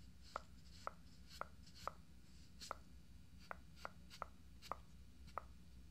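Fingertips of both hands tap quickly around the eyes and forehead of a life-size hollow fiberglass binaural dummy head microphone with makeup on its face. About ten short, sharp, hollow-sounding taps land at an irregular pace, each with a brief mid-pitched knock that dies away almost instantly. A steady low hum sits underneath.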